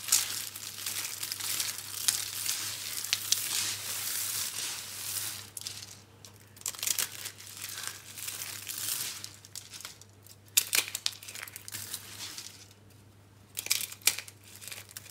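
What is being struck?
Soap curls.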